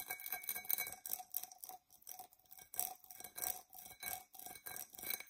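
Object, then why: Glass drinking tumbler. Long nails scratch the outside and base of a dark purple embossed tinted glass tumbler, held tilted and hollow and empty. Irregular bursts of bright, hissy scraping repeat over the clip, each carrying a faint ringing tone near 700 Hz that dies away quickly between strokes.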